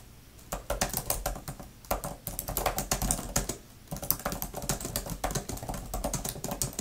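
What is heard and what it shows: Long-nailed fingertips type fast on a thin grey plastic laptop type-cover keyboard with flat plastic keys. Rapid bursts of bright, sharp plastic clicks and taps come with brief pauses between runs, over a soft low thud from the keys bottoming out.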